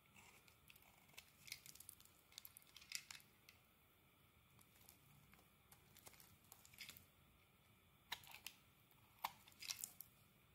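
A metal blade scrapes shavings off the surface of a solid rectangular green soap bar held in the hand. The sound is quiet, with crisp, bright scrapes and short clicky cuts that come in irregular bursts over a soft hiss. Each stroke ends almost at once.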